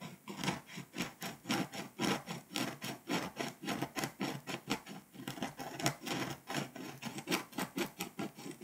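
A pink scraper rubs back and forth across the foil layer of a flat, foil-coated paper scratch-off map, loosening foil dust and flakes. The strokes come as a steady run of short, dry rasping scratches, roughly two per second, each with a bright, papery hiss and almost no ring.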